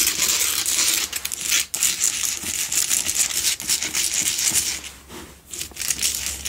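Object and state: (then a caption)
Himalayan salt block candle holder. Fingernails scratch rapidly across the rough faces of a lit, solid pink Himalayan salt block double candle holder. The result is a dense, bright, gritty rasping with a crinkly texture and almost no low end. It runs in irregular bursts, with brief dips near 1.7 and 5.3 seconds.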